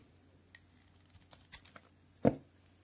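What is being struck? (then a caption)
Bar of soap. A solid white cream soap bar stamped NC, held in hand, is scored and shaved with a utility knife blade. Faint, soft scraping ticks scatter over a quiet low hum, then one louder, dull, short cut lands near the end and fades almost at once.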